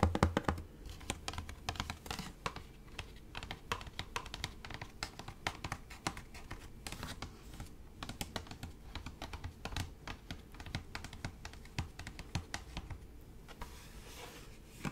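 A medium-sized, hollow, light-blue plastic spray bottle of fabric refresher with a purple trigger is held in front of the microphone and tapped on its side and bottom with fingertips and nails. Rapid, light clicking taps with short hollow thuds continue throughout at a quiet, steady level, each dying away almost instantly.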